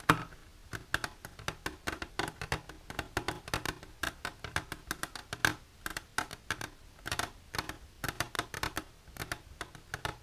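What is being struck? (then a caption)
Hard plastic container. Long silver nails tap and grip the sides of an empty, clear hard plastic container standing on its end. The result is a steady, uneven run of quick, dry clicks with bright highs and almost no ring, broken by softer scraping grips between the taps.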